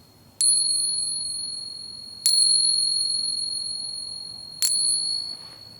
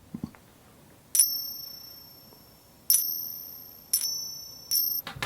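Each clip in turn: First: Three bright taps, each ringing clear and very high for seconds: genuine 90% silver dollars. Second: Four bright coin-on-coin taps, each leaving a high, pure ring that hangs for over a second: low-grade silver coins.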